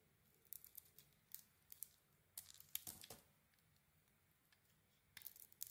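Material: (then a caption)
Soap. A metal blade carves a solid red and silver striped bar of soap with a white core. Quiet, crisp scraping and crackling bursts come in short clusters, bright and hissy with very little low end. Each burst stops dry with no ring, separated by near silence.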